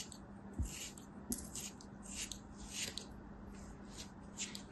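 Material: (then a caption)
Kinetic sand. A small, solid ball of beige kinetic sand, held between fingers with long white nails, is cut and scratched with a black utility knife blade. Soft, crisp, bright scraping and crunching bursts come at an irregular pace, with a few dull low thumps over a faint steady hum.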